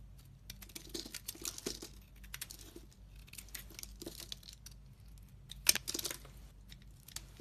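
A solid translucent brown bar of glittery soap with a red rim, held in the hand, is shaved with a metal utility knife blade. Rapid, dry, bright scraping and crinkling strokes follow one another closely, with one sharper, louder cut near the end.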